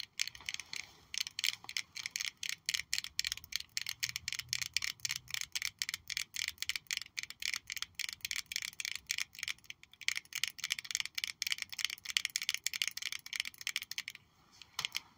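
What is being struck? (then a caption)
Small glass perfume bottle with metal cap. A small purple faceted glass perfume bottle with a metal cap is held close and tapped and scratched with long nails. The result is a fast, steady stream of bright, clicky glass taps that die away almost instantly, with a thin scratching texture between them and nothing in the low end.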